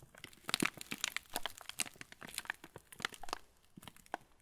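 A full yellow plastic-film TUC cracker packet is turned in the hands while fingertips squeeze the wrapper. It makes dense, irregular crinkling and sharp crackles, bright and dry with almost no ring.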